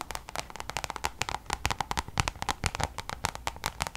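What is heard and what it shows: Long nails tap rapidly on the face of a coated-canvas designer pouch held in both hands. The result is a fast, uneven stream of short, dry, bright clicks that stop almost instantly, with a slight hollow low thump under some of them.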